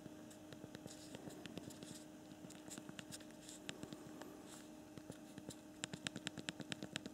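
Both thumbs type on the backlit hard plastic QWERTY keyboard below the screen of a newer Android BlackBerry KEYone phone. A quick, irregular run of short, dry plastic key clicks patters over a faint steady hum, with the taps growing sharper and brighter toward the end.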